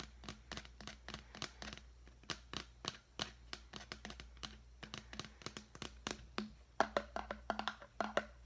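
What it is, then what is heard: Plastic deli container. A large, clear, hollow and empty plastic deli container is held in the hand and tapped with the fingertips in quick, uneven bursts. Each tap is a short, dry, hollow click with almost no ring, faintly pitched around 670 Hz and with a bright edge. A steady low hum runs underneath.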